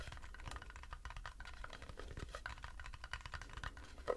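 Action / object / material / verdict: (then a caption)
tap / turned wooden bowl / wood / none. An empty, hollow, light turned wooden bowl is held in both hands while fingernails rapidly tap and scratch its base. The result is a dense, dry patter of short clicks and scratches with a soft woody tone around 500 Hz over a low rumble. A slightly louder tap comes near the end.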